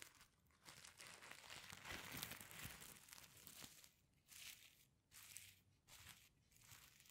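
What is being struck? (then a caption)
Sequin-covered fabric pencil case. A palm and fingers brush over the reversible sequins covering a flat sequin fabric pencil case, flipping them over. It makes a soft, bright crinkling rustle: a continuous stretch of dense scratching first, then a series of separate swipes with short quiet gaps between them.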